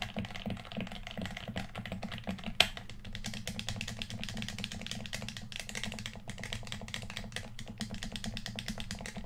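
Fingertips click the buttons and d-pad of a hollow red plastic PS4 controller held in both hands. It makes a rapid, steady stream of short, dry, bright clicks over a constant low hum, with one sharper, louder click about a third of the way through.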